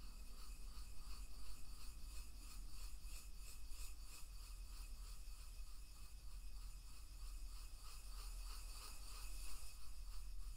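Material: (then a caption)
Wood. A wooden pestle rubs and grinds salt inside a hollow, carved wooden mortar held in one hand. A steady, quiet, gritty scraping runs the whole clip in a rhythmic back-and-forth pattern, with a bright, granular crunch over a low rumble.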